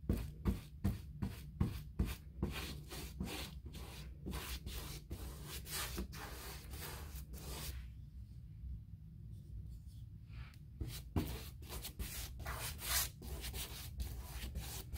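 A paint brush rubs in quick, scratchy strokes along the panel recesses and stiles of an upright white molded composite six-panel interior door, likely hollow-core. The dry, bristly swishes come in an uneven rhythm over a steady low hum, pausing briefly before the strokes resume.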